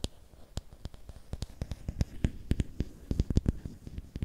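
Fingernails scratch and tap along a long, thin, solid bamboo or wooden stick held in both hands. About twenty short, dry taps ring out in an uneven series, each with a low knock and a bright click. Soft scratching fills the gaps between them.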